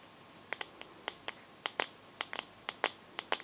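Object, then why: Glass-backed smartphone with metal frame. Long gold-painted fingernails quickly tap the glossy glass back of a teal Samsung smartphone with a metal frame, held upright. Short, bright, clicky ticks come in an irregular patter, each dying away almost instantly against a quiet background.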